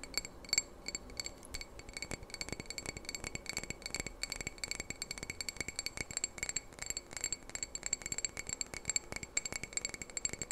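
A small hollow red glass candle jar with a lit candle inside is held in both hands and tapped and scratched with fingernails. Rapid, bright glassy clicks and clinks come in quick bursts, with faint high ringing overtones and a soft scratchy texture between the taps.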